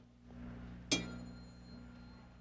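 A solid aluminum rod is struck once on the ground, giving a sharp clink followed by a very pure, very high-pitched ringing tone. The tone holds steady high overtones and dies away very slowly over a low background hum.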